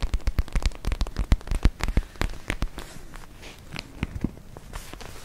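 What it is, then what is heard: Plastic gel ice pack. A palm-sized, soft, clear purple plastic gel ice pack filled with gel and glitter beads is held in both hands and scratched and tapped with long nails. Quick, irregular, crisp clicks and taps come over a dull low thump, loudest in the first two seconds. They then soften into quieter rustling scratches.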